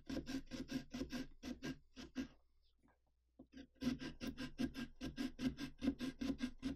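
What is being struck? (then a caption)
Pumpkin rind cut with a serrated saw. A serrated carving saw rasps through the rind of a large hollow pumpkin along the mouth line in a quick back-and-forth sawing motion. Each short, scratchy stroke has a dull, hollow low-mid body, and the strokes stop for about a second before starting again at a steady, brisk pace.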